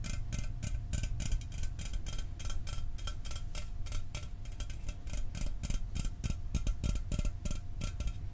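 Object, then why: Aluminum drink can. A standard aluminum Mountain Dew soda can, held in the hands, is tapped quickly and continuously with fingernails. The result is a steady stream of sharp, short, ticking clicks over a low, dull body.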